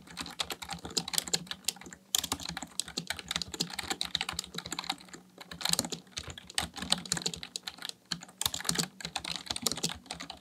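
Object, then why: Plastic membrane computer keyboard. A full-size black plastic Dell KB1421 membrane desktop keyboard with a hollow housing, resting on a desk, is typed on continuously with the fingertips of both hands in a rapid tapping action. The result is a dense stream of short, bright, clicky key taps with very little low end and almost no ring, broken by brief pauses near 2, 5 and 8 seconds.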